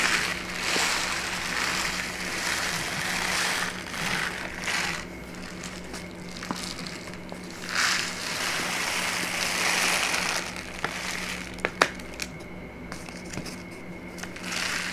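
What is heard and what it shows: A brown kraft paper pouch is turned over in the hands, crinkled and squeezed with fingertips and long nails. Dense, bright rustling and crackling swells and fades in waves over a faint steady low hum, with a couple of sharp crisp snaps near the end.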